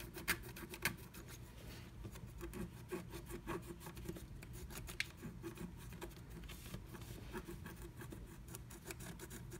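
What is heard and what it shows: A pointed wooden stick scratches the coating off a flat sheet of black wax-coated scratch art paper inside the letter cut-outs of a blue plastic stencil, which fingertips hold down. Soft, dry, raspy scratching strokes repeat at an uneven pace, with a few sharper, bright ticks standing out early and midway. A steady low rumble runs underneath throughout.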